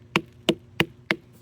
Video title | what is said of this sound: How To Tell If Watermelon Is Ripe (4 Best Tips) #watermelon #garden #gardening | It sounds hollow.